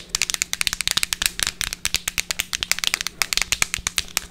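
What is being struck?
Plastic tube of effervescent tablets.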